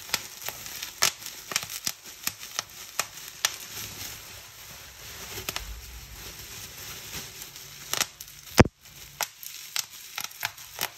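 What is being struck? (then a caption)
Plastic bubble wrap. Fingertips and nails squeeze a clear plastic bubble wrap sheet, popping its air bubbles one after another. About two dozen sharp, bright snaps ring out over 11 seconds, the loudest near the 8.6-second mark. Soft crinkling of the plastic fills the gaps between pops.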